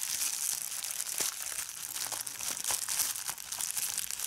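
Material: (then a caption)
Plastic. A large sheet of clear plastic bubble wrap is held up in one hand while fingers crumple it and pop its bubbles. The result is a steady, bright crinkling with sharp little snaps scattered throughout, almost entirely high-pitched with no low end.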